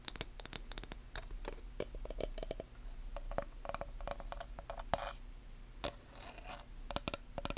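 Long nails tap and scratch across the face and wooden edge of a small black chalkboard with a wooden frame, held in both hands. Quick, sharp clicks with a faint hollow ring come in irregular clusters, broken by brief bright scratchy rasps. Everything plays quietly over a steady low hum.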